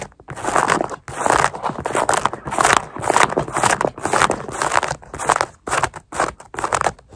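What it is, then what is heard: Mesh fabric sneaker upper. Long nails scratch the laces and black mesh upper near the eyelets of a sneaker worn on the foot, close up. Dense bursts of dry, crinkly scratching come in uneven pulses with brief pauses, strongest in the mids with a faint high hiss and almost no low end.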